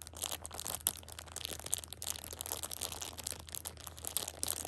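A plastic-wrapped six-pack of pocket tissues is held at the edge while a hand squeezes and crinkles the plastic wrap. The result is a dense, bright run of crackling and crunching with sharp, quickly fading snaps, over a faint steady low hum.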